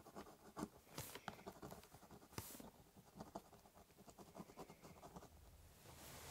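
A ballpoint pen scratches lines along the top of a large corrugated cardboard box. Quiet, dry, papery scratching comes in quick, uneven strokes, with a few longer, brighter scrapes standing out. Each stroke stops short with no ring.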